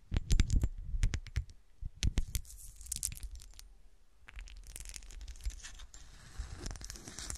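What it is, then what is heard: Textured glass shoe ornament. Long black nails tap and scratch a small, solid, textured frosted-glass golf shoe ornament, first held and then standing upright on a table. Quick, sharp taps with a low thump open the clip, then give way to steady, bright scratching across the textured glass.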